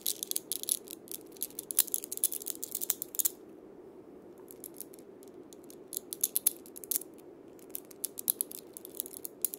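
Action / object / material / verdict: scrape / wooden cabasa with steel bead chains / steel, wood / none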